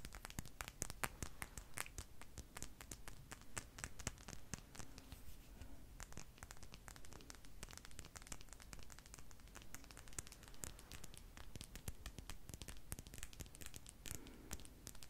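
A palm-sized solid clear glass crystal ball with an etched design is held in the hands and tapped and scratched with long nails. Quick, irregular clicks and bright scraping strokes repeat steadily over a soft low rumble, each tap dying away almost at once.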